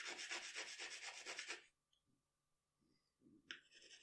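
A pencil tip scratches quick, short sketch strokes of facial features onto a large, flat sheet of drawing paper lying on a table. A fast, bright, papery scratching rhythm runs for about a second and a half, then stops into near silence with a few faint touches. Fresh strokes resume toward the end.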